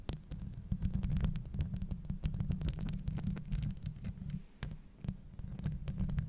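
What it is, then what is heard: Metal mesh microphone grille. Very long blue acrylic nails scratch and tap directly on the hollow woven steel mesh grille of a Blue Yeti USB microphone. The result is a dense, boomy low rumble of rapid thumps, with quick bright clicks and scratches cutting through for the whole clip.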